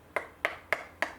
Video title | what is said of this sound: Comparing the Weatherby Vanguard II to the Howa 1500 | the walls of the buttstock are much thicker